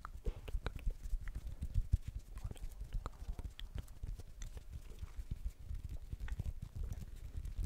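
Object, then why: Plastic ball. Fingers tap on a blue plastic ball in quick, uneven bursts throughout. Each tap is a short, dry thud, mostly low-pitched with a brief bright click on top. The taps stop dead with no ring, giving a soft clip-clop-like patter.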